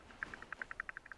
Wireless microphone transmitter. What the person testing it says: if i shake it it rattles